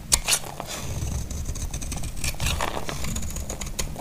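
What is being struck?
Bar of soap cut with a knife blade.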